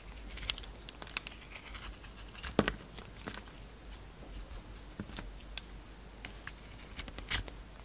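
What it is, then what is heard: Soap bar being shaved with a blade. A hand-sized, solid oval bar of soap with a brown glitter coating over a pink core is held in the palm while a utility knife blade shaves and cuts it. The clip is quiet, with soft scraping and crinkly shaving sounds broken by sharp, bright cuts, the loudest near the middle and the end.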